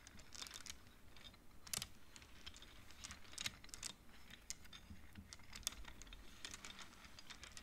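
Fingertips and long nails slide colored wooden beads along the metal rods of a large wooden-framed abacus. Quick, dry, bright clacks and clicks follow one another with almost no ring, over a faint low background rumble.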